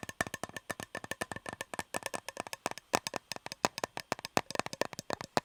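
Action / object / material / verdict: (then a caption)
tap / metal cake tin / metal / none. Fingers tap rapidly on a shiny, unopened Fortnum & Mason metal fruit cake tin with the cake still inside, producing about 40 short, dry clicks in 5.5 seconds. Each tap has a mid-range tone near 740 Hz and stops almost instantly. Sticky tape on the tin's rim adds to the tapping sound.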